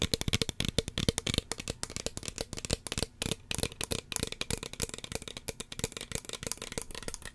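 Fingernails tap rapidly on the body and white plastic cap of a small, hollow red plastic spray bottle. The taps are quick, dry and clicky, falling in an uneven rhythm with a faint hollow tone and almost no ring after each hit.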